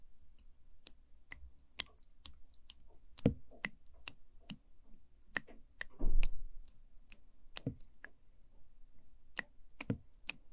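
A wooden spoon stirs and squishes orange sticky jelly pudding in a small translucent plastic cup close to the mic. Sharp, sticky clicks and bright ticks ring out over a low rumble, with a louder, longer wet squish around the six-second mark.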